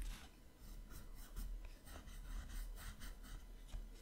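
A light-colored pencil shades a drawing on the right page of an open paper sketchbook held flat by the left hand. Soft, scratchy strokes of pencil rubbing on paper come in quick repeated bursts, with a faint low rumble underneath.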